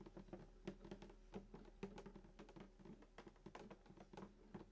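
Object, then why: Wooden acoustic guitar body. Fingertips of both hands tap quickly on the hollow wooden soundboard around the bridge of a sunburst acoustic guitar lying flat. The result is a quiet, steady patter of soft, dull knocks, each with a short, hollow, low body resonance near 190 Hz that dies away almost at once.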